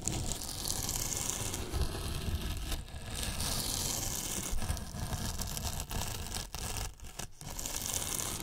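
Two paintbrushes brush and scratch along the top edge of a large, hollow white polyethylene foam box with a microphone inside it. The result is a steady, dense scratchy rustle with a deep, boomy low end and bright hiss on top, broken by a few brief dips as the strokes pause.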